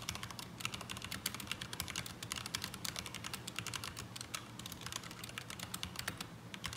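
Both hands type continuously with their fingertips on a black mechanical keyboard with ABS plastic keycaps resting on a desk mat. The result is a dense, rapid stream of short, bright plastic clacks with almost no ring, over a faint steady low hum, giving an unsatisfying typing sound.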